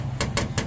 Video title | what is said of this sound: SUZUKI DA64 Automatic MINIVAN Turbo DIY - Oil Leak on K6A engine oil cooler | Kung rubber siya, hindi yan basta-basta magtutunog, no? Tumutunog eh. More or less plastic.